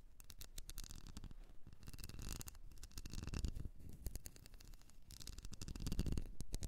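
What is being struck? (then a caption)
Ribbed wax candle. Long nails scratch and tap along the ridges of a small, solid blue wax candle shaped like a ribbed seashell. A quick, irregular run of soft, dry taps and rasping scratches follows, each sound muffled and short with almost no ring.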